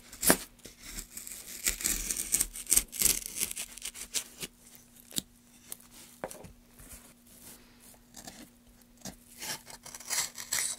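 A gouge held in gloved hands scrapes along the grooves of a solid pale softwood block, making a run of bright, dry, tearing rasps in uneven bursts. A faint steady low hum sits underneath throughout.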